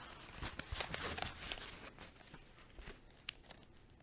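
A flat green and pink woven fabric zip pouch with a tassel, held on the palm, is scratched and tapped by long nails. Dense bright scratching fills the first two seconds, then it thins out to quieter rustling with a few sharp taps near the end.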